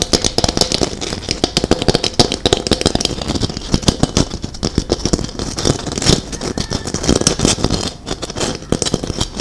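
A hollow gold glitter-coated Christmas ball ornament, about 8 cm with a gold cap and apparently plastic, is held close to the mic and scratched and tapped across its glittered surface with long acrylic nails. The result is a dense, steady stream of crisp, rattly clicks and scratchy crackles with bright edges and a light low thump. Each tap dies away almost instantly.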